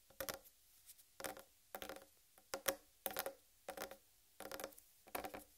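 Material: Watermelon rind.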